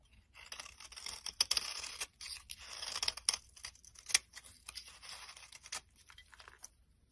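A utility-knife blade scrapes along the surface of a solid, hand-sized brown soap bar, peeling off orange flakes. The sound is a series of bright, dry, crackling scrapes in uneven bursts of varying length, with almost no low end and short pauses between strokes.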